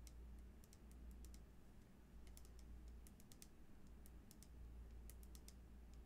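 Long nails tap and scratch along the side of a frosted plastic cosmetic bottle with a black cap, full of green liquid and held in the hands. Quick, bright little clicks patter irregularly over a steady low hum, all at a soft, quiet level.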